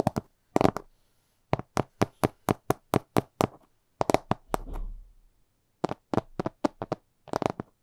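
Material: Glass.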